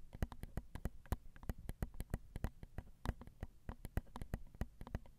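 Long acrylic nails tap on the small, hollow, crossed silver metal X/Y microphone capsules of a Zoom recorder. The result is a quick, irregular run of short, dry clicks with deep low thumps and almost no ring.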